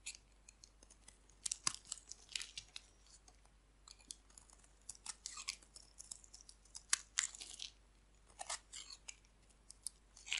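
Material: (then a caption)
Soap. A dry, solid purple-pink striped bar of soap is held in the hand and shaved with a metal blade, with chips falling off. Quiet, bright, crisp scraping and crunching strokes come in short irregular bursts, each dying out almost instantly, with faint hiss between them.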